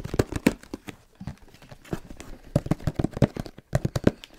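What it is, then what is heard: Tapped camera box. A camera box is tapped rapidly with the fingertips, giving a quick, uneven run of about twenty dull, hollow taps. The taps are mostly low-pitched thuds that stop almost instantly, with little brightness and only faint rustle between them.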